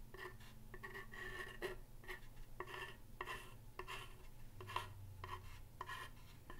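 A thin pen-like tool scratches and traces across the solid surface of a large wooden plank sign with painted lettering. Short, dry scratching strokes repeat in quick bursts, each with a faint ringing tone around 1 kHz. A steady low hum runs underneath.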